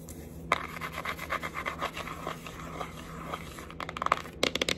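Long acrylic nails tap and scratch the front cover and edge of a flat, rectangular red cardboard Sheglam eyeshadow palette, a thin hollow box. Steady, dry scratching and rubbing runs throughout with light taps. It ends in a quick series of sharp, bright clicks with almost no ring.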